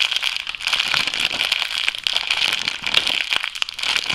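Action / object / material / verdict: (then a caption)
scrape / thin plastic food bag / plastic / none. An empty, clear, thin, flexible plastic food bag is squeezed, crumpled and stretched with both hands and fingertips. It produces a steady, dense crinkling and crackling that is bright and concentrated around 2.8 kHz, with almost no low end. Sharp little snaps pop out over the continuous rustle.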